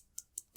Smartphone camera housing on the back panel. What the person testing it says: a little bit flimsy which it is because it is pretty much just the camera unit